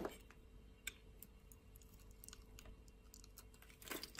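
A metal utility-knife blade cuts a solid purple bar of soap held in the palm into sticks and cubes. Quiet, crisp clicks and soft crunchy scrapes are heard, with louder snaps near the start and the end. A faint steady hum runs underneath.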